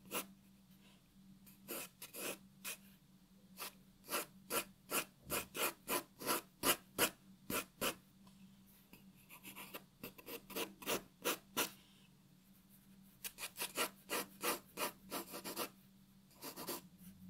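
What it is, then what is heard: Pencil scratching on paper. A graphite pencil writes and draws on a white paper sheet resting on a wooden table. The result is a quiet series of short, bright scratching strokes in uneven bursts with pauses between. Beneath them runs a faint, steady low hum.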